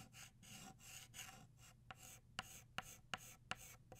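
An orange chalk stick scratches and rubs across a flat black chalkboard, shading a flower. Long, bright, raspy strokes come first, followed by shorter, sharper scrapes with crisp clicks where the chalk strikes the board, all over a faint low hum.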